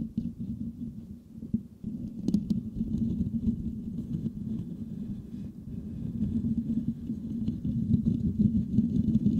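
A rounded, hollow metal mesh grille on a white microphone is scratched with the fingertips and short nails of both hands. The result is a dense, low, rumbling scrape centered in the low-mids around 190 Hz, with a faint bright rasp above it. It runs fairly steadily, briefly dips early on, then grows louder and busier toward the end.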